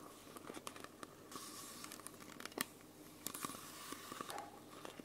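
Long nails scratch and tap the red cap and label of a small, hollow, clear plastic Coca-Cola bottle, making quiet crinkly, tearing-like sounds. Many short, bright clicks and scratches stand out over a steady faint hiss.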